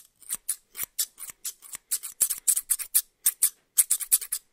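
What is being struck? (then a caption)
Steel hair-cutting shears. A small, solid pair of steel barber shears is held in one hand close to the microphone, its blades opened and closed so they slide and rub against each other. This produces a quick series of around twenty bright, crisp metallic snips with a slight scraping edge, each dying away almost instantly. The sound is thin and high, with no low end.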